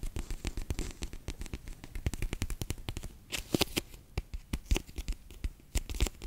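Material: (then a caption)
Plastic, gel. A bear-shaped clear PVC pouch full of orange water beads is held in the hands and squeezed and rubbed with fingertips and long nails. The result is a dense run of short, sticky taps and crackles that blur together, with low thuds and bright clicky edges.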